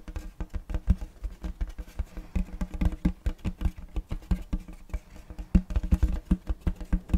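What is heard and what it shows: Fingertips tap and drum rapidly on the face of a large round checkerboard wooden tray held upright, giving a soft patter of about 34 quick, dull knocks. The knocks are low and woody with very short decay and no bright high end.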